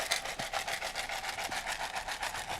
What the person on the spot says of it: it will also change the sound to be a little bit higher higher and a little bit more dense